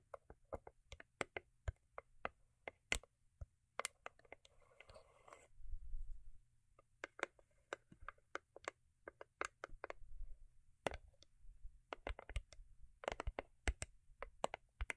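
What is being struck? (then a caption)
Cardboard gift box with foil-paper covering. Long acrylic nails tap and scratch the top and sides of a small, hollow, cube-shaped rigid cardboard gift box covered in holographic foil paper, resting on faux fur. Quick, dry, clicky taps come in irregular bursts, each dying away almost instantly. Brief stretches of soft, papery scratching run between them, over a faint low rumble.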